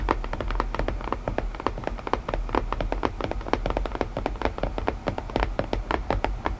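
Long painted nails tap rapidly and steadily on the lid of a closed, hollow, palm-sized white printed cardboard puzzle box. The taps are quick, dry and mid-pitched clicks that die away almost instantly, over a constant low background rumble.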